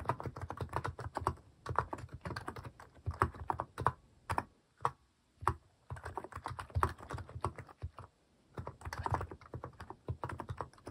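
Fingertips type on a white-case mechanical keyboard fitted with pastel plastic cat-shaped keycaps. Rapid, dry clacking keystrokes come in bursts separated by brief pauses, each press short with a thocky low body and a clicky midrange.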